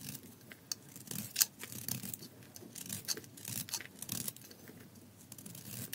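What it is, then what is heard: Dry soap bar being shaved. A solid gold-coated bar of dry soap is held in the hands and shaved with a metal utility blade, with the shavings falling onto the table. Quiet, bright scraping strokes crackle and rasp one after another, with a few sharper clicks. The strokes are close together and fade quickly.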